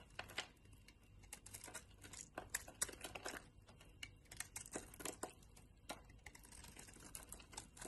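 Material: Soap.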